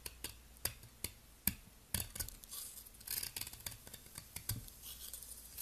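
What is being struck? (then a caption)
Round bar of soap scraped with a metal blade. A palm-sized, solid, round blue soap ball is held in the fingers and scraped with a metal utility blade, shaving off powdery flakes. The clip is a quiet series of short, crisp scraping strokes and sharp ticks with a bright, hissy edge and almost no ring. Several strokes stand out louder than the rest.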